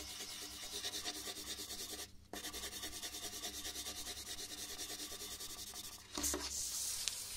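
A red colored pencil shades a large white paper sheet resting on a wooden desk with steady back-and-forth rubbing strokes. The sound is a bright, dry scratching hiss that pulses with each stroke. It pauses briefly near the two-second mark and again just after six seconds, then resumes slightly louder.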